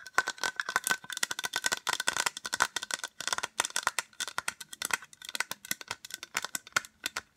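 Long acrylic nails tap fast on a small, white, hollow plastic case. The result is a rapid, uneven stream of sharp, dry clicks with a hollow ring around 1.4 kHz and bright high-end crackle. There is almost no low end.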